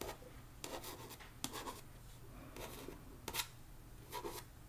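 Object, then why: Paperback book with card cover. Long nails scratch and tap the card cover of a paperback copy of One Dark Window lying flat. Soft, bright scratching rasps come in short bursts, broken by a few sharp, quick taps that die away almost instantly.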